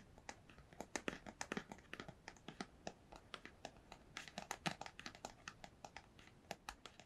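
Long pale nails tap and scratch a small, hollow, empty-looking white cardboard product box held up near the microphone. Dozens of quiet, crisp, dry clicks sound in an uneven rhythm, each dying away almost instantly, with a bright, papery scratching texture between them.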